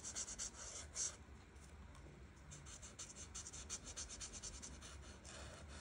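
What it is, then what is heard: Marker colouring on paper. The felt tip of an art marker, held in fingertips with long nails, rubs and scratches across a flat paper coloring page while coloring teal leaves. The result is a quiet, bright, hissy scratching in quick back-and-forth strokes, louder in the first second and then steady and fast.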